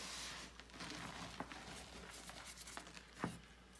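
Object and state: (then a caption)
Gym chalk block being crumbled. Bare fingers squeeze and crumble a solid pressed gym chalk block (magnesium carbonate) over a white bucket, with powder falling from the hands. Soft, dry crinkling and gritty crumbling run throughout, broken by six short, sharp crunches. The loudest crunch comes near the end.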